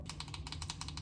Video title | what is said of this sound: make macarons with me - baking vlog 👩‍🍳🎀🫧 | That doesn't sound the same.